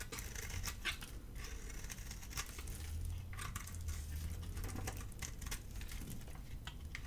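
A gold utility blade scrapes and carves the surface of a solid, dry black soap bar with white dots, held in the hand, exposing a pale interior as soap curls come off. A steady run of dry, crisp scraping and crackly ticks plays over a low rumble, with short bright scratches standing out.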